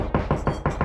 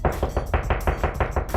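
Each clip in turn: First: hollow drywall between studs. Second: solid drywall over a stud.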